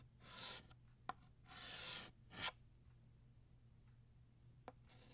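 Blue chalk draws a ribbon fold in short strokes on a flat black chalkboard, making scratchy chalk sounds. Three bright, raspy strokes stand apart from one another, and sharp little taps fall between them. A faint low hum sits underneath throughout.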